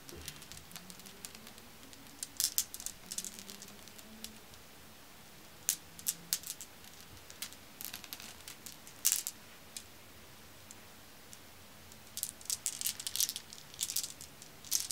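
Solid, dark, glossy glass marbles from a pile are gathered in a hand and rattled between fingers with long nails, just above the pile. Quick bursts of bright, sharp clicks and clacks come in scattered clusters, with quiet pauses and a faint low hum in between.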